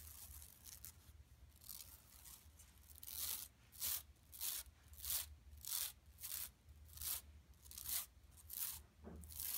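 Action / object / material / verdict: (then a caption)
scrape / woven plastic mesh bag / woven plastic / none. Long nails scratch and rub the lower part of a flat, empty yellow woven plastic mesh tote bag lying on carpet. Soft, hissy rubbing in the first few seconds gives way to louder, bright, crackly scratching strokes in a loose rhythm, with a faint low hum underneath.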